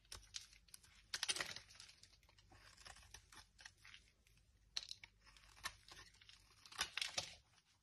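A metal knife scrapes a dry, solid blue marbled oval bar of Dettol soap held in the hand, shaving off crisp curls that pile onto a table. The sound is a quiet run of dry, bright scratching and crinkly tearing strokes, with louder bursts of crunching between softer, rasping passes.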